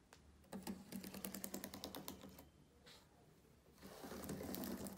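Fingertips of both hands tap and type rapidly on the plastic keys of a black laptop keyboard, making a dense run of quick, dry clicks over a low steady hum. The clicking stops briefly into a quieter stretch, then resumes with louder tapping to the end.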